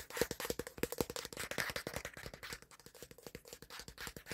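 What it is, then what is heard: Plastic phone back, tapped and scratched. Fingertips and nails tap and scratch quickly on the flat plastic back panel of a black Samsung smartphone held up to a mirror. The result is a fast, uneven run of short, dry clicks with a faint hollow tone around 480 Hz, mixed with brief scraping rasps.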